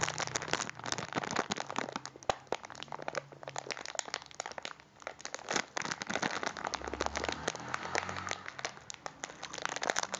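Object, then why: Plastic biscuit packet wrapper. A full cylindrical packet of biscuits in a crinkly plastic wrapper is held in both hands and crinkled and pressed with the fingers. Dense, continuous crackling and crunching fills the clip, with sharp, dry snaps that stop instantly and a bright, papery hiss above a faint low hum.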